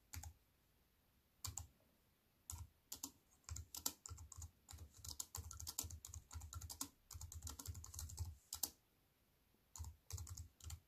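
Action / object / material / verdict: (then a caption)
tap / aluminium-framed keyboard with plastic keys / plastic / none. Fast fingertip typing with long nails on a wireless keyboard with an aluminium frame and black plastic keys. Bursts of quick, bright clicks with a low thump under each stroke, separated by short pauses. The clicks stop almost instantly with no ring.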